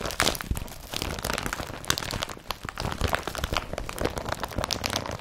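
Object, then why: Rolled-up woven polypropylene carrier bag. An empty blue IKEA BRATTBY woven polypropylene carrier bag, rolled up, is squeezed and twisted with both hands. It gives a steady run of dense, bright crinkling and crunching with short crackles and no pauses. Low rustle and higher scratchy detail are both present throughout.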